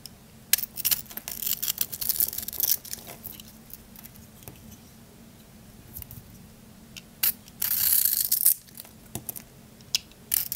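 A solid Dial bar soap with a pink glitter crust over white soap, held in the hand, is shaved with a small blade that carves strips of the crust away. Bright, crunchy scraping crackles come in scattered bursts, with a longer dense rasp near the end.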